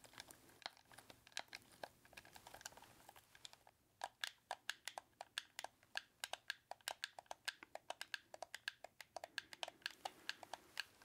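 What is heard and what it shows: A red hollow plastic game controller is gripped in both hands while thumbs and fingertips rapidly mash and click its buttons. Quick, dry, bright clicks and taps come in fast, uneven bursts with almost no ring, pausing briefly before a denser run of sharper clicks.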